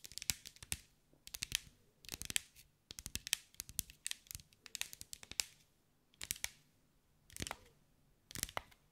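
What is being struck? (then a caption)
Glass mosaic-tiled ball. Long white acrylic nails tap and scratch over a hand-sized sphere covered in small green mirrored glass mosaic tiles, held in the hands. Quick, bright, dry clicks come in short flurries separated by brief pauses, with a faint crinkly scratch between taps. The sound is quiet and stops instantly, with no ring after each tap.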